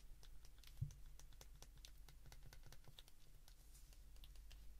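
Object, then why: Plastic flip phone keypad. Thumbs repeatedly press the keypad buttons of a handheld white plastic flip phone, making quick, light, bright clicks in an uneven, rapid stream. A steady low hum runs underneath the whole time.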